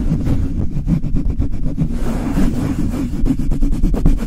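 Fingers and long nails rub and scratch quickly across the bare metal mesh grille of a Blue Yeti microphone. The result is a dense, boomy low rumble broken by rapid, repeated scraping strokes, with little high-end brightness.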